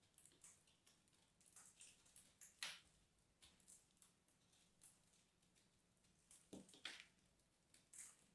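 A small metal knife carves and scrapes into a small solid block of crumbly purple soap held in the fingers of both hands, shaving off crumbly flakes. Quiet, bright scratchy scrapes and soft crumbling crackles come in short bursts, with a few sharper cuts standing out near the middle and end.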